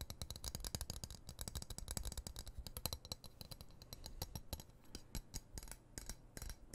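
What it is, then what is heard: Steel knife blade. Fingertips and nails tap and scratch a solid, dark steel knife blade held upright in front of the face. The result is a rapid, dense stream of short, dry clicks and ticks with a soft low thump beneath and bright crisp edges. The sound gives almost no ring after each tap.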